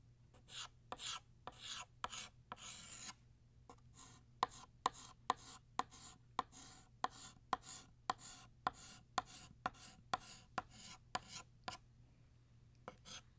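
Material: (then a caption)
Chalk. Blue chalk retraces a banner outline on a flat black chalkboard in short strokes. Longer scratchy rasps at first give way to a quick series of short, dry scrapes with sharp taps at their starts. The sound is bright and gritty, with a faint squeaky tone near 1 kHz and almost no ring after each stroke.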